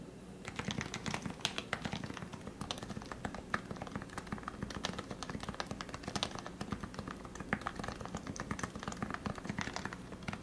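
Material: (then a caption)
Plastic. Fingertips type steadily on a lubed plastic Leopold FC660C Topre keyboard with 45g switches, producing a quick run of soft, muted keystroke thocks. Each press has a low body with a brief bright click on top and a very short decay.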